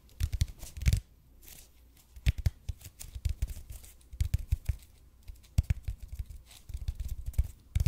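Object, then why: Expanded polypropylene foam roller. Fingernails scratch the surface of a red and white speckled expanded polypropylene (EPP) foam roller held in both hands close to the mic. Dry, crackly scratching bursts come with a deep, soft thump in the foam, separated by brief quiet gaps.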